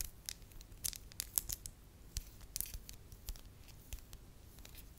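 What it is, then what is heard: Soft wax ball. Long acrylic nails tap, click and scratch a small, solid, beige soft wax ball. The result is a quiet, irregular series of short, bright clicks and taps with no ring, over a faint low rumble.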